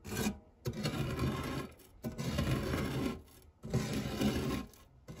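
A silicone spatula scrapes across the textured base of a round, fluted, non-stick metal tart tin, dragging through crumbs. The result is a dry, gritty rasp with low body and a faint high hiss, heard as repeated long strokes separated by short quiet pauses.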